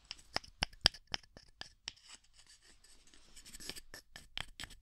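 A small pair of light, solid-wood kitchen tongs is held in the hands beside a dummy head, and the arms are snapped and clacked together, wood knocking on wood. A quick run of sharp, dry, bright clacks with almost no ring gives way to a softer scraping rustle, then a few more clacks at the end.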